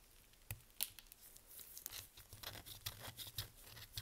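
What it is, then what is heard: Dry, crumbly bar soap. A small curved knife, held in purple nitrile-gloved hands, carves and scrapes thin crunchy flakes off a dry, crumbly Svoboda green-tea toilet soap bar. Quiet, dry, bright scraping crackles are punctuated by sharp crisp snaps and tearing crunches that stop almost instantly, with a faint low thump under some cuts.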